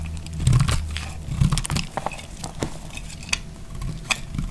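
A solid, narrow beige strip of dry bar soap is held in the fingers and sliced with a utility knife blade, making repeated crisp scraping cuts. Each cut gives a short, dry crunch with bright crackling edges over a low, muffled body, and the sounds die away almost at once.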